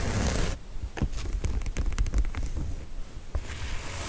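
Long nails tap and scratch the top fabric and sides of a pink, zipped, padded woven-fabric cosmetic case with a faux-leather handle. Bursts of bright scratchy rustling at the start and end frame a run of quick, soft, dull taps. The sound is muffled and bass-heavy, with almost no ring after each tap.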